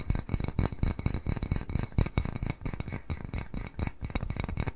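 Fingernails tap rapidly on the outside of a small white glazed ceramic cat-face bowl held in both hands. The result is a dense run of short, dry clicks and clinks with a low, thudding body and almost no ring after each tap.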